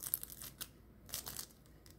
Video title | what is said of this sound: ISPANAKLI KOL BÖREĞİ 💯 5 dakikada pratik çıtır çıtır hazır yufkadan tarifim❤️ #ıspanaklıkolböreği | es crujiente, ¿pueden escuchar este sonido crujiente?